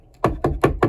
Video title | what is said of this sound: Another Suspicious SAK Surpise! | doesn't rattle when you knock it